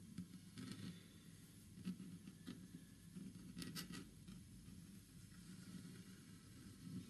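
Fingertips and short nails of one hand tap and scratch a large, flat, solid wood-grain panel stained green, probably from hotel furniture. Quiet, dull low knocks mix with soft scratchy rustles and brief brighter scrapes. Each tap dies away almost at once.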